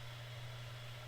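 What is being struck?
Nothing is struck.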